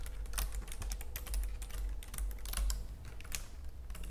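Fingernails tap quickly across the keys of a white plastic computer keyboard with both hands, giving a dense run of sharp, bright clicks. A steady low hum sits underneath the whole time.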